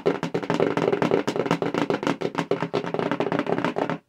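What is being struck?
Cardboard mailer box.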